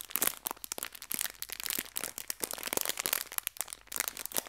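A small clear plastic bag full of colorful hair ties is pinched and rubbed with fingertips and long red nails. It gives a steady run of dense, bright crinkles and sharp little crackles with almost no low end. Each crackle cuts off almost instantly.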